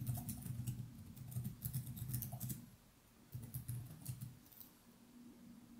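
Both hands type continuously with their fingertips on a plastic laptop keyboard with chiclet keys, resting on a desk. Soft, quick key taps patter irregularly over a low, muffled thump, with short bright clicks on top. The typing comes in two bursts separated by a brief quieter lull, then trails off softly.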